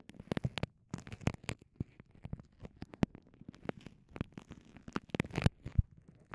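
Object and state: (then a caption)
Clear vinyl pouch being crinkled. Long nails and fingertips crinkle and squeeze a small, clear, soft vinyl pouch with microphones inside. The result is a quiet, rapid, irregular run of close-up crinkles and soft taps. Each one is short and dry, with most of its weight in a low, muffled thud and a few sharper, brighter snaps.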